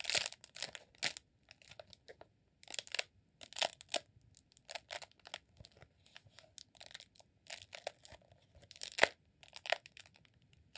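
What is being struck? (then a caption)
Rolled beeswax sheet candle. Fingertips and short nails scratch and squeeze the textured surface of a green rolled honeycomb beeswax sheet candle, a solid roll about 20 cm long held in both hands. Quiet, dry, bright crackling scratches come in short bursts with brief pauses between them, and each sound ends almost instantly with no ring.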